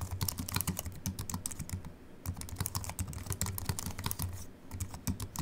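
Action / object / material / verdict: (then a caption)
tap / aluminium-bodied keyboard with plastic keys / aluminium, plastic / none. Fingertips of both hands type on a compact Apple keyboard with a silver aluminium body and white plastic keys, resting on a wooden desk. Quick, short, bright key clicks tap out in steady runs over a low, soft hum, easing off briefly around two seconds and again near four and a half.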